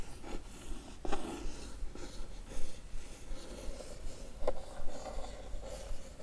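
A single long fingernail slowly traces and scratches the wavy printed pattern on the lid of a closed, hollow, blue-and-white printed Blissim cardboard box. The result is a soft, dry, uneven scraping over a low background rumble, broken by two faint sharper ticks.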